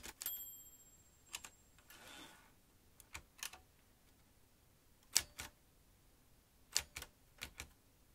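Fingertips press the keys of a metal manual typewriter, producing twelve sharp, bright clacks, mostly in close pairs, spread irregularly across the clip. A brief soft rasping whoosh sounds around the two-second mark, and each strike dies away almost instantly against a quiet background.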